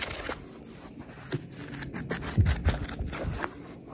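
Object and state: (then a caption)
Paperback book pages being scratched and tapped. Long red nails scratch and tap along the top page edges and cover of a paperback book held in both hands. Soft, papery scratching runs throughout, with quick bright ticks and a few louder, dull low taps near the middle.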